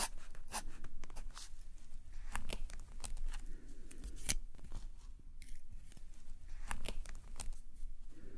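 A metal calligraphy nib is dragged in drawing strokes across a flat black paper sketchbook page resting on a table. Dry, scratchy strokes come in short bursts with bright, crisp edges over a steady low background rumble.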